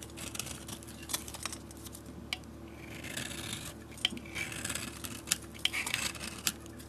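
A utility blade scrapes the blue, galaxy-painted surface off a solid rectangular bar of soap and carves into the pale soap beneath. Bright, dry scraping and rasping continues throughout, with short, sharp ticks and crisp little snaps where the blade catches. The sounds are quiet and close, with almost no ring.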